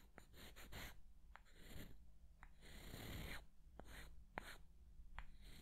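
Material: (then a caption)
Wood. Two small, solid light-wood blocks are held beside a dummy head's ear and rubbed and scraped against each other with the fingertips. Soft, breathy scraping swells come and go, bright at the top and rumbling low, broken by several short, dry clicks with almost no ring.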